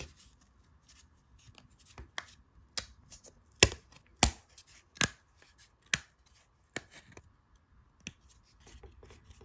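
A thin, round, laser-cut plywood dial disc with cut-out slots, about a hand span across and part of a wooden globe puzzle, is held in both hands while fingertips and nails press, rub and scratch over its surface and edge. About eight sharp, dry, bright wooden clicks and taps stand out at irregular intervals over a quiet bed of soft scraping and rubbing.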